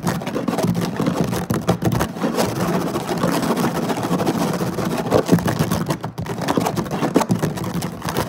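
Both hands scratch the surface of a flat woven synthetic-fiber placemat with short nails and fingertips in quick bursts. The result is a dense, continuous, rough scratching texture, heavy in the low-mid range with little brightness, swelling and dipping slightly throughout.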